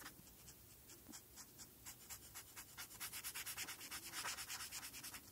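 A felt-tip marker held in the fingers is rubbed back and forth over a flat sheet of white paper with a printed pony outline, lying on a dark surface, colouring the eye area blue. About nineteen quick, bright, scratchy strokes come at roughly three per second, growing louder and denser toward the end.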